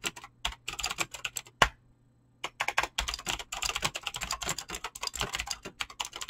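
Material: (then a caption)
Plastic. Fingertips type fast on a mechanical keyboard with clicky green switches and PBT plastic keycaps, producing a dense run of sharp, bright clicks. One louder key strike is followed by a brief pause before the rapid typing resumes.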